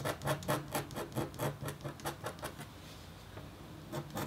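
A metal-tipped stylus scratches a thin, solid, flat copper foil scratch-art board coated in black. About eleven short, raspy strokes are heard in a quick, uneven rhythm, each a dry scrape with a low rumble underneath. After a brief pause near the end, a few more strokes follow.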